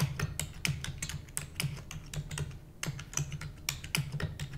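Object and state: Plastic computer keyboard being typed on.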